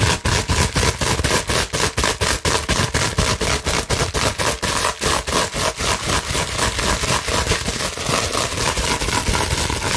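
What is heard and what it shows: Long nails scratch rapidly across a clear plastic bubble wrap sheet held up in the air, producing a fast, steady run of dry, crackling rasps at about two strokes per second. Each stroke is a broad, noisy scrape with a bright, hissy top. The strokes are distinct at first, then blur into a denser, more continuous crackle toward the end.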